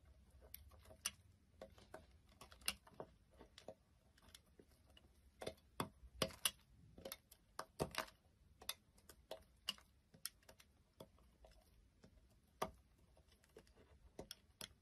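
A beige soap bar resting on a table is cut and shaved with a blade into brittle flakes. Each stroke gives a quick, crisp, bright click or snap that dies away almost instantly, in an irregular series over a quiet background.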